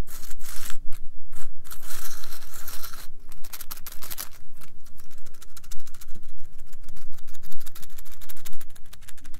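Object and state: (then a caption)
Wooden toothpicks in a holder. Fingertips brush and scratch across the upturned tips of wooden toothpicks packed into a small green cylindrical holder. The result is a dense, dry crackling with rapid bright ticks and scratchy bursts over a faint low hum.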